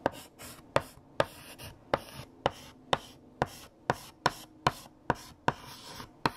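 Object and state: Chalk writing on a chalkboard.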